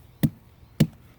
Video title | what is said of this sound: Carpos garden update- Sept 2020 | this is my pumpkin